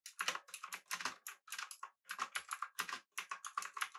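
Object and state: Mechanical keyboard being typed on.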